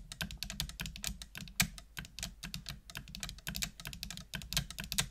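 Long nails type continuously on a full-size black plastic computer keyboard with hollow plastic keys. The result is a rapid, steady stream of bright, clicky taps over a hollow low thud, each keystroke dying away almost instantly.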